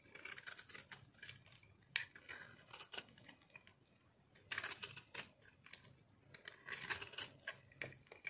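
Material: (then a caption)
Soap. A metal blade shaves crunchy flakes off the top of a solid, round, pink-and-orange speckled dried soap ball held in the palm. Quiet, bright, dry crackling scrapes come in short bursts, with a few sharper snaps standing out.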